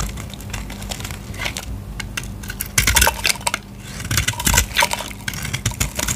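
A utility knife blade scrapes and cuts a solid blue Lux bar soap held in the hand, shaving off dry flakes. Crisp, bright crackling scrapes come in uneven bursts, growing louder and denser around the middle and later in the clip, over a faint steady low hum.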